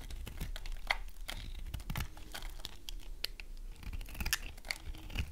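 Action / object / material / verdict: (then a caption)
scrape / bar of soap shaved with a small knife / soap / none. A small knife blade shaves and scrapes curls off the end of a hand-sized, solid, dry green soap bar held in one hand, with pink and green shavings lying on a wooden board below. The sound is a dry, crisp run of scratchy, tearing scrapes and crumbly crackles, with sharp clicks ringing near 2 kHz over a soft low rumble.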